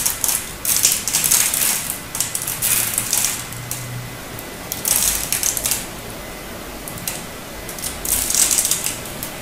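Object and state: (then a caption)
Hard bar soap being cut. A utility knife blade crosshatch-cuts a turquoise solid hard bar soap, and cubes crumble off with crisp cracking. Bursts of bright, high crackling and scraping rise and fade over quiet pauses.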